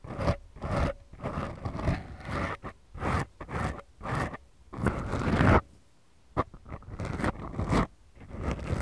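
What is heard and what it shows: Long glittery nails scratch two small, soft, porous black foam windscreens on the mics of a Tascam recorder. Heard are about fifteen irregular bursts of deep, close, rumbling scraping and rustling, mostly low with little high-end content, with a brief silence just after the middle.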